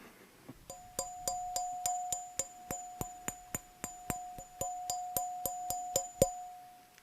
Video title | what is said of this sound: Trumpet ASMR - Let’s Put it Together! (Instrument Tapping Sleep Sounds) | nice little ring to it